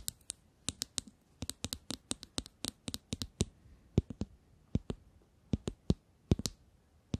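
Long nails tap and scratch a small, shiny, hollow metallic cylinder tube case with a gold ring, held close to the microphones. An uneven series of sharp, dry clicks and taps sounds, each with a bright, high tick over a soft low thud and almost no ring. Faint scratching fills the quiet gaps between them.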